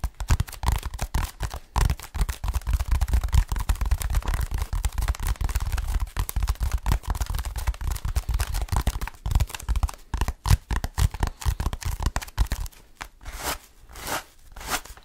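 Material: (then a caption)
EVA foam. Fingertips scratch the surface of a blue textured EVA foam roller, a large hollow cylinder held in one hand. The result is dense, rapid scratching with a deep, hollow rumble. Near the end it thins into slower, separate brushing strokes that swell with a brighter hiss.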